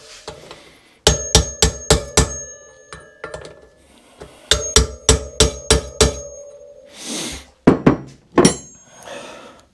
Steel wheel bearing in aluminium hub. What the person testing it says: You started to hear a little bit of a higher pitch sound. So yeah, you can hear that it's in place.